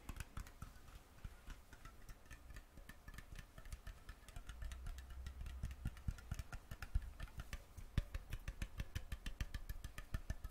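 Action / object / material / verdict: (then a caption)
tap / thin metal jar lid / metal / none. Fingernails tap and scratch a round, thin, hollow metal mason jar lid, removed from its jar and held in the fingers. Quick, sharp metallic ticks and light scratches come in an uneven stream over a steady low hum, with a few louder taps near the end.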